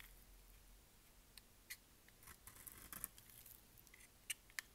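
A solid rectangular purple bar of dry soap, held in the hand, is shaved with a utility knife blade. Quiet, irregular scraping and cutting strokes are heard, with a few sharp, bright clicks and crackles. Each click stops almost instantly over a faint background hiss.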